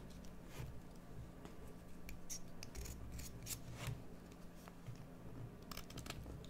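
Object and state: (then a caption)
Bar soap being carved. A solid green bar of soap is shaved with a metal carving tool, producing a series of crunchy cutting strokes. Each stroke is a short, bright, crisp scrape over a quiet, steady low hum.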